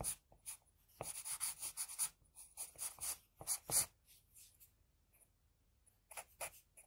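An HB pencil scratches across a flat sheet of drawing paper while drawing hair and a jaw line. Bursts of dry, bright, papery scratching strokes come in quick clusters with short quiet gaps between them, and the sound has almost no low end.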